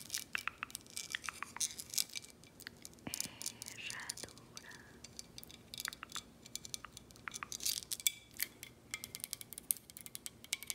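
Long acrylic nails tap and scratch a clear, thick glass Herradura tequila bottle with an embossed emblem, held in hand, moving over both the glass and the emblem. A quiet, steady run of quick, bright clicks and taps mixes with soft, crinkly scratching. Each tap dies almost instantly and there is very little low end.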